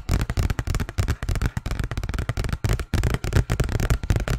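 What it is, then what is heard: Paper envelope. A large, thin, empty-looking white paper envelope is held in the hands and tapped and scratched with fingernails. The result is a rapid, continuous run of soft, dull taps and papery scratches, with most of the weight in the low end and quick, dry decays.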